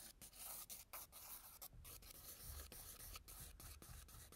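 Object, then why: Pastel pencil rubbed on a toned paper sketchbook page. A wooden-barrel white pastel pencil is rubbed in fast circular scribbles over tan toned paper in a spiral sketchbook. It makes a quiet, continuous dry scratching and rubbing with a bright, hissy top and a soft low rumble underneath. The strokes break up into short bursts separated by brief pauses.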